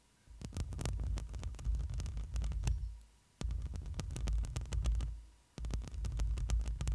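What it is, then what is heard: Metal mesh microphone grille being scratched. Long nails scratch and rub the hollow metal mesh grille of a black microphone, giving a deep, booming low rumble laced with sharp, bright clicky ticks. The scratching comes in three sustained bursts, each fading out before a short near-silent pause and an abrupt restart.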